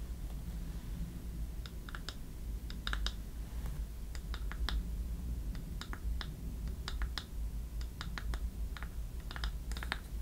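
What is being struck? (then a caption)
Small wooden box with metal clasps. A small hollow wooden treasure-chest box with metal clasps is held close to the mic and tapped with long nails and fingertips. Short, sharp clicky taps come in irregular bursts, bright and dry with almost no ring, centered around 1.7 kHz. A steady low rumble runs underneath throughout.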